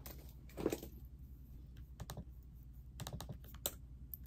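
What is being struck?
Plastic laptop keyboard.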